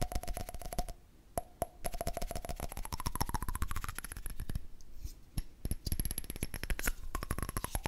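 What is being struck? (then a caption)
Candle lid. A candle lid is tapped rapidly with fingers or nails, giving a dense run of short, dry clicks over a low thump. A faint steady tone sits under the taps, gliding upward partway through, with brief pauses in the tapping.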